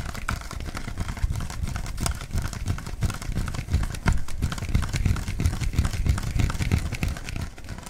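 A hollow, clear plastic bottle with its cap on is held in the hands and tapped with the fingertips. The result is a dense, irregular run of soft, dull taps with a deep, thumpy body and light crinkling. Each tap dies away almost instantly.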